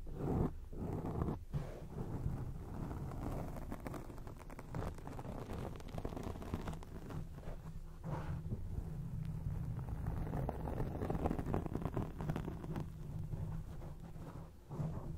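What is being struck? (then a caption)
Foam microphone windscreen. A black foam microphone windscreen is scratched with long rainbow acrylic nails on both hands. The result is a dense, continuous, muffled rustling and crackling, heavy in low rumble and with almost no high end. It holds at a steady level throughout, with only brief dips.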